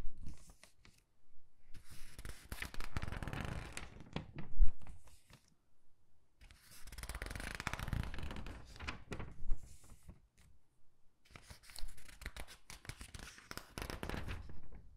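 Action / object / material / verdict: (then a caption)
flick / glossy paper catalog / paper / none. Fingertips and nails flip and squeeze the thin pages of an open glossy paper clothing catalog. The result is three bursts of dense, crinkly rustling and soft page-turning swishes, separated by short quiet pauses.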